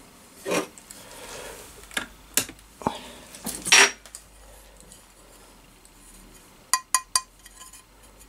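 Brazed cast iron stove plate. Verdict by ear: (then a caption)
Solid. A cast iron stove plate, its cracks brazed and sandblasted, is tapped nine times and gives short, bright clinking rings. The plate sounds solid, though visible cracks remain in it, some of them new.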